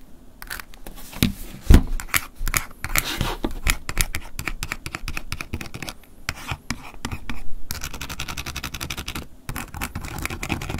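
A wooden ear pick scratches and taps the ridged back and face of a small, hollow, closed silver flip mobile phone with a plastic and metallic-finish shell. The result is a dense, continuous run of dry scratching and quick clicking taps with a short, hollow knock, with one sharper tap standing out near the start.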